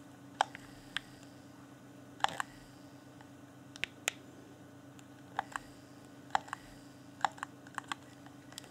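A hand-sized, hollow, transparent plastic Xbox One Afterglow game controller is held in both hands while thumbs and fingertips click its buttons in irregular bursts. About eighteen short, dry clicks with bright, snappy tops stand out over a faint steady low hum, each dying away almost instantly.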